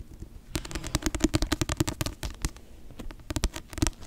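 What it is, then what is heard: Paperback book. Long nails tap and scratch the glossy cover of a paperback novel held upright near the microphone. Quick, irregular dry taps with a low thump and bright clicky edges die away almost instantly, mixed with brief scratching between bursts.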